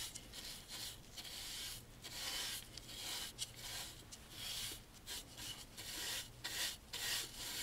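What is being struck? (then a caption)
Wooden picture frame moulding. A bristle brush in a gloved hand sweeps back and forth over the moulding of a dark stained solid wooden picture frame with a beaded groove, dusting and cleaning it. Quiet, scratchy, bright rasping strokes swell and fade in a steady rhythm with brief dips between passes.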